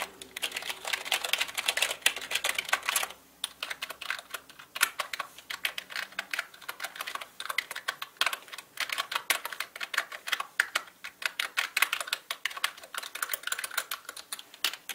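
Fingertips type on the main keys and number pad of a black mechanical keyboard with plastic keycaps, producing a steady stream of bright, dry clicks that stop for a moment. Bursts of fast typing alternate with brief pauses, each keystroke sharp and quickly fading.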